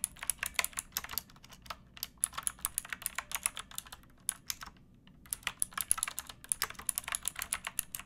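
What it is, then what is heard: Plastic mechanical keyboard being typed on. Both hands type with fingertips and nails on a pink backlit mechanical keyboard with plastic keycaps. Rapid, bright, clicky keystrokes come in quick bursts, each dying away instantly. The typing briefly stops for about a second near the middle before resuming.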